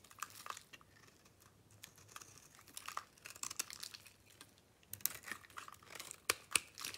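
A metal blade scrapes and chips flakes off a solid pink bar of soap held in a hand with long nails. The sound is a quiet, irregular run of dry, bright crinkling scrapes and crunches, with a few sharper snaps near the end.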